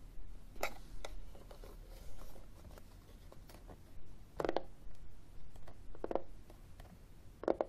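A flat, hollow, black plastic external CD drive casing is held in the hand while fingernails scratch and tap its textured surface. Quiet, dry scratching runs throughout, broken by short, hollow plastic taps and clicks that die away almost at once.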